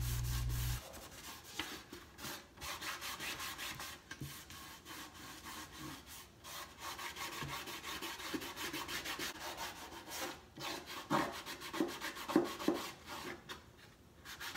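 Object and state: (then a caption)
Wooden crate being rubbed. A hand rubs the side panel and X braces of a large hollow wooden crate box stand with white-distressed slats, using a cloth or sandpaper, while the other hand steadies the top. The result is a steady run of dry, scratchy rubbing strokes at a quick, uneven pace, with a bright, hissy edge over a hollow wooden body.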